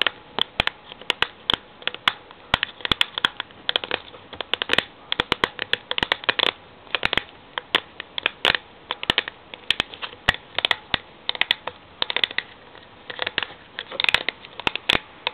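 Long fingernails tap and scratch the green paper label on the side of an upright cylindrical steel Milo tin. Quick, irregular taps make sharp, bright clicks that stop almost at once, over a soft, papery scratching with almost no low end.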